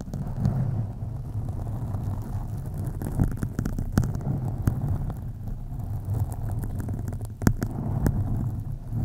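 Long acrylic nails on both hands slowly scratch a soft, porous black foam windscreen on a USB condenser microphone. The result is a deep, muffled rumbling scrape, with most of its energy in the low end, broken by scattered sharp, brief crackles and clicks.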